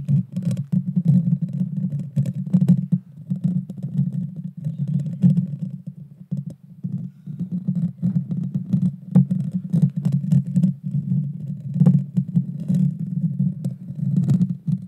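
Long dark fingernails scratch directly across the small, hollow, round metal mesh grille of a Blue Yeti Nano microphone. The result is a dense, close-up, low rumbling scrape, continuous for most of the clip with a brief lull near the middle, dotted with sharp crackling clicks and faint bright ticks.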